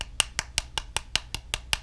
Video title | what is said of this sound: Kudo3D Titan 1 DLP SLA 3D Printer: 3DM-XSeries (XGreen) Resin For Strong & Functional Parts | dull thud because the resin is much softer here